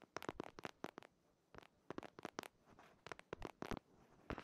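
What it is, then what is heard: Hardcover paper planner. Fingertips and nails scratch and tap the printed cover of a purple patterned hardcover paper planner held upright behind the microphone. Quick clusters of sharp, crisp ticks and scratchy strokes come in bursts separated by brief quiet pauses. Each tap dies away almost instantly, leaving a soft, close, papery texture.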